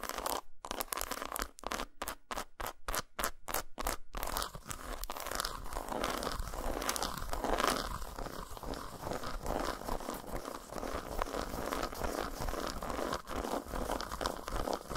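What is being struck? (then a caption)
Segmented chocolate bar. Long nails tap and scratch the squares of a solid, segmented dark chocolate bar lying flat on a towel. Short, crisp bursts of tapping come first, then give way to steady, dense, crunchy scratching with a bright, dry texture.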